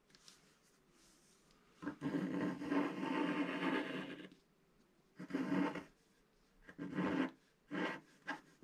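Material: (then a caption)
Coated paper. A wooden stylus scratches the black coating off a flat sheet of scratch-art paper, making a dry, raspy rubbing sound. One long scraping stroke lasts about two seconds, followed by a run of shorter strokes separated by quiet pauses.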